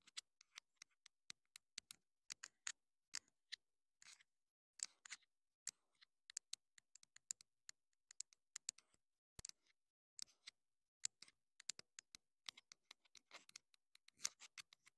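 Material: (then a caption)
Plastic. Long acrylic nails tap and scratch the casing and top of a small, hollow, black plastic clip-on wireless mini microphone transmitter held in the hand. About 46 quiet, dry, bright clicks come in irregular bursts, mixed with brief scratchy rustles, with almost no low end and no ring after each tap.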